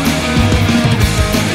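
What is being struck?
Nothing is struck.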